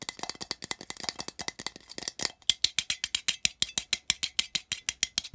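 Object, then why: Small thin metal tin. Fingertips tap quickly on the side of a small, open, empty, hollow printed metal tin. The taps are bright, clicky metallic ticks with a faint ring near 3.4 kHz that dies almost instantly. They come in a dense, uneven flurry at first, then settle into a steady, evenly spaced rhythm.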